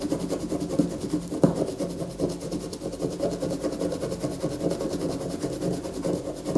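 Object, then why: Bar of white soap scratched with fingernails. A solid white soap bar resting on a paper poster is held and scratched firmly with long fingernails. It makes a steady, dense rasping scrape with a few sharper scratches standing out.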